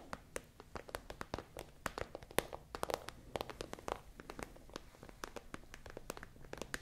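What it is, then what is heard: Plastic pencil case tapped and scratched. Long nails tap and scratch a tall, hollow, iridescent holographic transparent plastic pencil case with items inside. The result is a quiet, irregular run of sharp, bright plastic clicks that die almost instantly, over a soft scratchy rustle.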